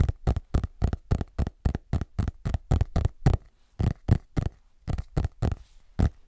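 A large hardcover paper book with a parchment-style printed cover, solid and closed, is held upright in front of a microphone while fingertips and short nails tap and scratch its back cover. Twenty-two short, dry, low thumps come in a fairly steady but slightly uneven rhythm, with a brief pause in the middle. Each one is muffled, with no ring after it.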